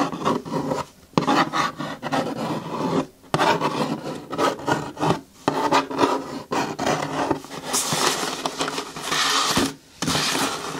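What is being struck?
Corrugated cardboard shoe box.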